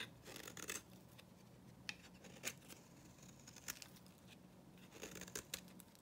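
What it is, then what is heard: Dry soap bar. A metal knife blade scrapes and cuts the surface of a solid, dry, dyed orange bar of soap held in the hand. It makes quiet, bright, crisp scraping strokes with sharp crackling clicks, over a faint steady low hum.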